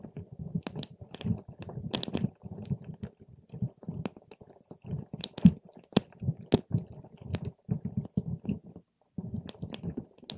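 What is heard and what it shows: A paper straw pokes and stirs purple water gel beads packed in a clear plastic cup. Soft, low, squishy bursts overlap with sharp, bright clicks and crackles, with a brief silence near the end before the stirring resumes.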